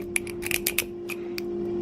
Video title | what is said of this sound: Hub Motor Noise Diagnostic | if one of them's loose and is loose enough making noise when it's moving it should make a different sound when I tap it